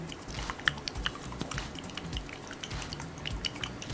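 A small frosted glass bottle of Jouer Essential High Coverage liquid foundation with a gold cap is shaken because its label says to shake well. The shaking makes quick, sloshing, wet-sounding clicks and splashes that show the thin liquid formula moving inside the bottle.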